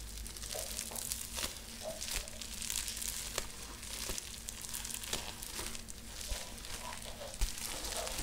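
A clear plastic bubble wrap sheet is folded and crinkled between the fingers, with bubbles pressed. Bright, continuous crinkling and rustling is broken by a few sharp crackles and snaps, over a steady low hum.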